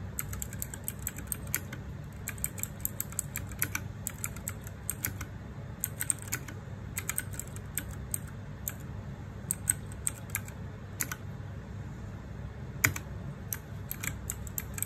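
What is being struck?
Mechanical keyboard with plastic keycaps.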